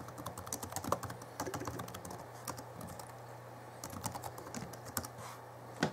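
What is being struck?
Plastic laptop keyboard keys.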